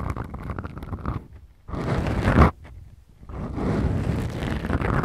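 Fingertips and long manicured nails of both hands scratch two small black foam windscreens on the mic capsules of a Tascam DR-40X recorder. The result is a dense, low rumbling scratch and crackle in bursts, with a loud swell near the middle and a brief quiet gap before the scratching resumes.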